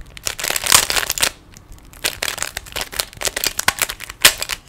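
A small solid plastic 3x3 Rubik's cube is held in both hands while fingers twist its faces. The result is a rapid series of bright, dry clicks and rattles, with a brief pause around 1.4 seconds before the turning resumes.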